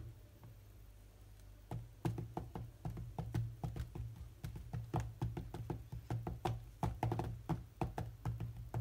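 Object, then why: Glass tablet touchscreen. Fingertips of both hands knock and tap rapidly on the glass touchscreen of a large tablet lying flat, producing a quick, uneven run of short, dull knocks. The taps start after a quiet opening of about a second and a half and continue to the end, over a steady low hum.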